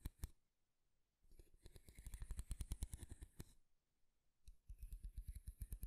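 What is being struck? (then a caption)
Wooden comb. A light wooden comb with fine teeth is held in one hand while fingernails run along its teeth and scratch and tap its flat wooden back. Two sharp taps open the clip, followed by a quick, crackling run of clicks and raspy scratching. After a short pause, a second burst of rapid, dry ticking follows, all at a soft, close level.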